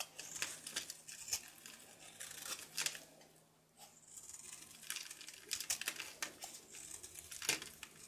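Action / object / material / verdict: scrape / bar of soap scraped with a knife / soap / none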